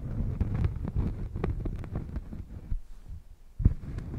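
A thin, solid round cork coaster is held against a furry microphone windscreen and scratched across its face with long painted nails. The result is a muffled, deep, bass-heavy rustling and thumping with short bright scratchy streaks, a brief quieter lull, and then a sharper thud near the end.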